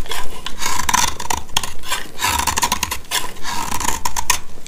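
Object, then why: Dry soap bar. A black utility knife blade scrapes and cuts into a dry, solid white rounded soap bar, hand-sized and held in the hand. The result is a run of dry, raspy scraping strokes with a bright hiss and a faint steady ring near 1 kHz, as powdery shavings come off the bar.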